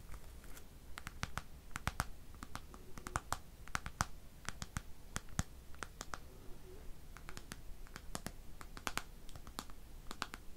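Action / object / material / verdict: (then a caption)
scrape / plastic bristle hairbrush on a cushion / plastic / none. A black plastic hairbrush with bristles rests on a pink cushion while fingers strum and scratch across the bristles. This produces a steady run of quick, dry, bright ticks and flicks with very short decay. Underneath is a soft, low background rumble.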